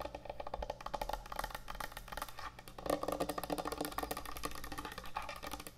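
Fingernails tap rapidly on a large, thick, solid wooden end-grain butcher block cutting board, moving toward the board's edges at the end. The result is a dense stream of short, dry, woody clicks with a hollow mid-range tone around 566 Hz and very little ring. The tapping grows a little louder and brighter about halfway through.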